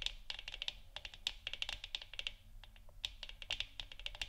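Long nails of both hands grip the sides of a hollow 3D-printed plastic moon lamp sphere, about 15 cm across and glowing orange on a wooden stand, tapping and scratching it. A rapid, irregular run of sharp, bright plastic clicks sounds with no ring, over a faint low background hum.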